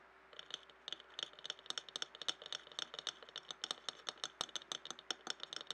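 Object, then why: Glass jar tapped and scratched with fingernails. A clear glass jar standing upside down and filled with colored paper scraps is tapped and scratched with fingernails. Quick, light clicks come in an uneven, steady stream, bright and thin with a glassy ring near 3.5 kHz that dies almost instantly. A faint scratchy hiss runs between the taps.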